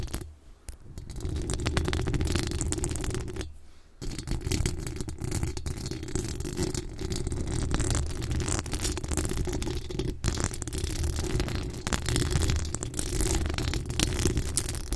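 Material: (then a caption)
Metal mesh. Very long acrylic nails scratch directly across the bare, hollow metal wire-mesh grille of a large USB condenser microphone with a rhinestone-decorated pink body. The result is a dense, continuous scratching and rustling dominated by heavy low rumble, with thin bright crackle on top. It drops briefly near the start and again around the four-second mark.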